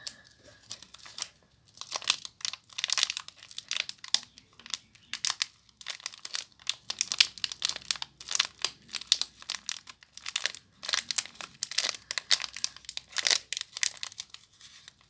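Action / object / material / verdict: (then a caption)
scrape / small soap bar in thin plastic wrap / plastic film / none. A small, solid hotel soap bar sealed in clear, crinkly plastic wrap is held in both hands while long nails and fingertips squeeze and crinkle the wrapper. The result is a steady stream of sharp, bright crackles and rustles in quick, uneven bursts, with almost no low end and no ring after each crinkle.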